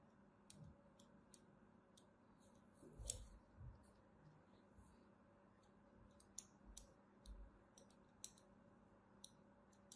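A thin metal blade scores line after line into the surface of a solid cream soap bar held in the hand. Quiet, bright scratching clicks come in short, crisp bursts over a low, steady background hum, with a few louder scrapes standing out.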